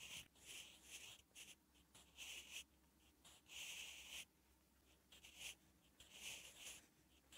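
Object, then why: Graphite pencil on thin lined notebook paper. A sharpened wooden graphite pencil is drawn across a thin lined page of a spiral notebook while writing Korean letters. The result is soft, bright, papery scratching in short strokes and bursts separated by quiet pauses.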